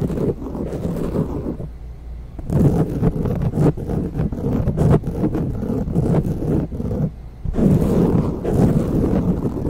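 Long nails and fingertips of both hands scratch the surface of a grey foam windscreen on a silver microphone. The result is a dense, muffled, bass-heavy rustling and scraping, with brief quieter pauses near 2 and 7 seconds.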